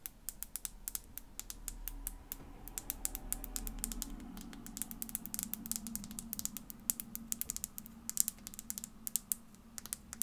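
Long fingernails rapidly tap and scratch a tiny clear glass bottle with a small amount of colored content inside, held between the fingers. The result is a dense stream of sharp, bright clicks that die out instantly, over a faint low hum and soft scratching.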